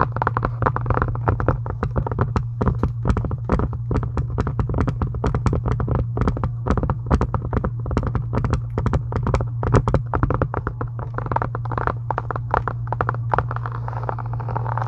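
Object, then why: Faux leather journal cover. Long acrylic nail tips of both hands tap fast on a closed pink embossed faux leather journal cover with gold "trust in the Lord" text, lying on a desk. A dense, steady stream of short, dry clicking taps plays over a constant low hum, with the sound weighted toward the low end.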